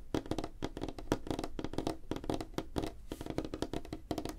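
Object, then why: Wooden tabletop. Fingertips and nails of both hands tap quickly on a flat, solid, light-colored wooden tabletop, giving about 25 short, dry knocks in a steady, uneven patter. Each tap is a dull, woody click centered near 305 Hz with little high end, and it dies away almost instantly.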